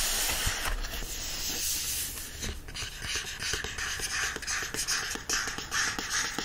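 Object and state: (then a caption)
Paperback book pages and cover being rubbed and scratched. Fingertips rub the open paper pages of a yellow paperback book, then scratch its card back cover. The result is a steady, bright, hissy rustle broken by quick, irregular scratching strokes.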